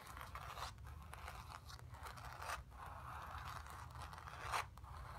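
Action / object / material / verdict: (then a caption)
scrape / painted stretched canvas on a wooden frame / canvas / none. Long acrylic nails on both hands scratch across the painted fabric surface of a square acrylic-painted stretched canvas on a wooden frame, hollow behind, lying on carpet. The result is a steady, dry, raspy scraping centered in the midrange, with a faint low rumble underneath and a few louder, brighter strokes standing out.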